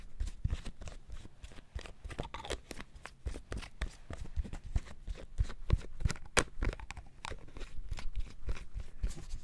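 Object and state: Plastic bottle lid tapped.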